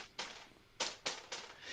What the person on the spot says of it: when I tap on it, it's plastic